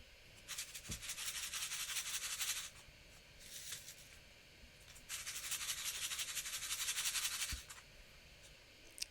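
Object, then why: Paper card with acetate window holding confetti. A finished paper shaker card, with an acetate window and foam tape holding loose star confetti, is shaken in two long bursts and a shorter one between them. Each burst makes a dry, high rattling hiss as the confetti slides and patters inside the window, with faint taps between the bursts.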